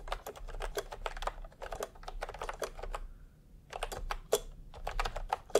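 Fingertips type fast on a full-size plastic computer keyboard with round pastel typewriter-style keycaps and a hollow body, resting on a white cloth. Dense runs of short, dry, clacky keystrokes break for a brief pause midway, then resume with a few sharper louder taps.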